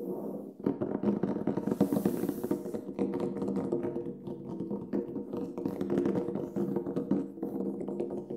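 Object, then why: Large frame drum with synthetic head. Fingertips tap and drum rapidly on the black synthetic head of a large, hollow Remo Buffalo frame drum lying flat with its head facing up. The quick, dense taps produce soft, hollow, resonant thumps centered around 200 Hz, with each note dying away quickly.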